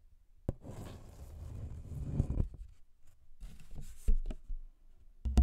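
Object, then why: Brown paper envelope. A thin, flat brown paper envelope, held with both hands in front of the microphone, is scratched with the fingernails. The result is a dull, low, dry scratching rustle in bursts, broken by a few sharp, short knocks that die away almost at once.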